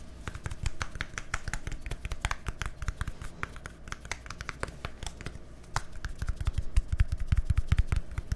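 A small, hollow white plastic deodorant stick with a green cap is held beside a microphone and tapped and scratched with fingertips and nails. Rapid, dry clicking taps with a low thumpy body and crisp, bright tips mix with short scratchy strokes. The taps grow louder and heavier toward the end.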